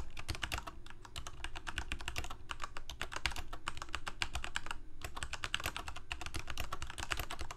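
Both hands type rapidly with their fingertips on a full-size black plastic Corsair K68 mechanical keyboard with Cherry MX Red switches and blue backlit keycaps, resting on a white desk. A dense, steady stream of short, bright clicks and clacks runs throughout over a low, constant hum, with only a few brief pauses between bursts.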